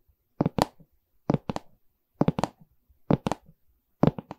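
A medium, hollow pine canvas stretcher frame with a canvas back has its wooden side bar tapped and scratched with long red nails. Five evenly spaced bursts of two or three quick, dull, low knocks each are heard, with almost no ring and faint scratchy texture trailing after them.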